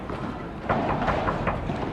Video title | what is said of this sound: 🔥 ASÍ ES el MEJOR CLUB de PADEL del MUNDO *ULTIMATE PADEL NIVEL WORLD PADEL TOUR* - el4Set | le verre d'avant ne sonnait rien et ça sonne ... comme un verre